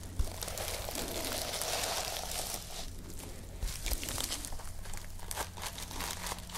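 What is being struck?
Plastic sequin cover on fabric backing.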